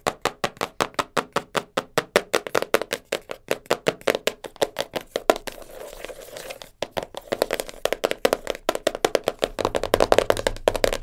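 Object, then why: Cardboard puzzle box. Long nails tap fast on the lid and sides of a small black cardboard jigsaw puzzle box, making a rapid run of short, dry, hollow clicks that center around 555 Hz with very little ring. Around the middle, the taps give way to a softer, denser scratchy rustle before quick tapping picks up again.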